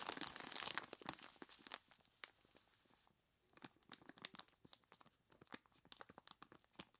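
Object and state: Plastic bag of ice cubes.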